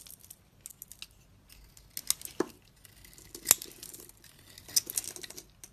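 A snap-off utility blade shaves and scrapes flakes off a solid magenta bar of soap with a blue inside, held in one hand. Quiet, bright, dry scraping and crackling comes in irregular bursts, with several sharp clicks that stop almost instantly. There is almost no low end.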